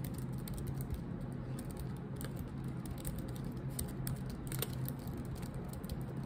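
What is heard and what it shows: Long pointed nails and fingertips type on a silver laptop keyboard with black plastic keycaps. A steady stream of quick, light plastic clicks and taps runs throughout, with occasional brighter, sharper key strikes over a constant low hum.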